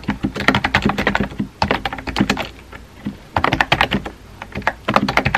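Fingertips tap the round white keycaps of a compact pink plastic keyboard, producing bursts of quick, crisp clicks with short thuds beneath. The typing pauses briefly around the middle and again near the end before resuming in rapid runs.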